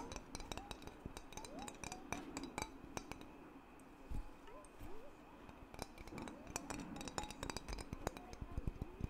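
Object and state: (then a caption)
Metal lid of a water-filled glass mason jar. The flat metal screw lid of a glass mason jar containing water is tapped with the fingertips while the jar is held lid-forward. Dozens of quick, dry clicks and light clinks come in uneven bursts, each dying almost instantly, with a low thud mixed in and short rising tonal chirps between them.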